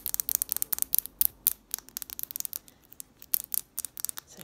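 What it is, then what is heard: Glass jar candle. Long nails rapidly tap and scratch on the faces of a small hexagonal pink glass jar candle with a gold lid, filled with wax. About two dozen sharp, bright clicks come in quick irregular bursts, each with almost no ring and nearly no low end. Soft scratchy rustles fill the gaps between taps.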